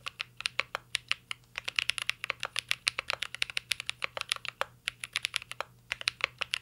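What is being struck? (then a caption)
Mechanical keyboard with plastic keycaps and metal case. A mint-green Cyberboard R3 mechanical keyboard with plastic keycaps and a metal case is typed on continuously with the fingertips over about 6.7 seconds. Roughly 48 short, sharp key taps click and clack in quick succession with a bright, crisp character centered around 2.7 kHz. Each tap dies away almost instantly.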